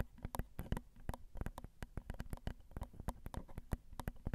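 Long acrylic nails tap the small, hollow metal mesh grilles of a Zoom recorder's XY microphone capsules. About two dozen quick, dry clicks sound in an irregular run over a low, steady hum. Each tap is crisp and bright, with almost no ring.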